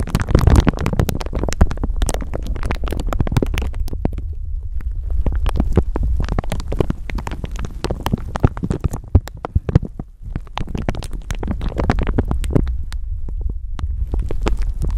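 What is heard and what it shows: A thin clear plastic bag wrapped over a microphone is squeezed and crinkled with fingertips and long nails. Dense, continuous crackling runs throughout, heavy with low thumping rumble from handling of the microphone underneath, with sharp bright snaps scattered through it. There is a brief lull near the ten-second mark.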